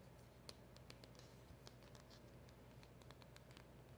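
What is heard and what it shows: Long nails tap and scratch around the silver foil seal sticker of a small black cardboard box held close by. Quiet, brief bright ticks and soft scratching rustles scatter over a steady low hum, each tap dying almost instantly.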